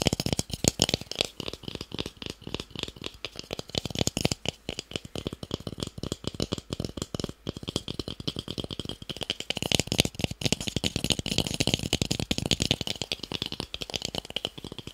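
A small, solid, light-colored wooden cube is held in one hand and tapped quickly with fingertips and nails. The result is a dense, continuous stream of dry, clicky taps that die away almost instantly. Each tap has a bright edge over a light low body, and the pace stays steady throughout.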